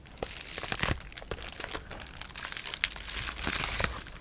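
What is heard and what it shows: A sheet of clear polyethylene bubble wrap with air-filled bubbles is rubbed, scratched and crinkled by fingertips and short nails. The result is a dense run of bright, crackly crinkles and sharp scratchy ticks over a low rumble. A few louder snaps stand out.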